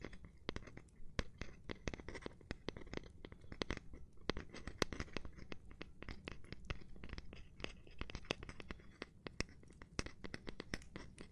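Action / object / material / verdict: scrape / cork surface / cork / none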